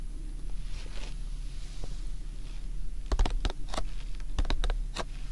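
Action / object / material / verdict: tap / cardboard tea-bag box / cardboard / none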